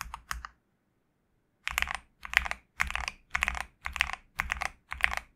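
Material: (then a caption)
Plastic. Fingertips type on a GMK67 65% mechanical keyboard with a black case, white PBT plastic keycaps and a knob, mostly with one hand and sometimes two. Two brief bursts of keystrokes are followed by a silent pause, then a steady run of quick typing bursts. The keystrokes are crisp, bright clicks that stop instantly with no ring.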